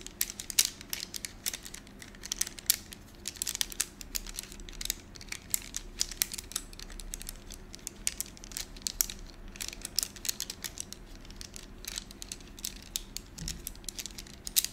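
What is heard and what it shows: A handful of thin, solid gold wax candles is held in both hands, fanned, rubbed and clicked together with the fingertips. It produces a dense, steady stream of sharp, bright clicks and crinkly rubbing over a faint low hum. Each tick dies away almost instantly.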